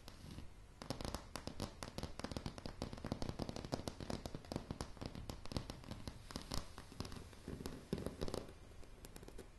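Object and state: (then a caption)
Wooden floorboards, solid. A light, solid wooden plank floor is tapped rapidly by the long polished nails of both hands. After a brief quiet start, a dense stream of sharp, short clicks plays over a soft low-pitched thud. Each tap dies away almost instantly.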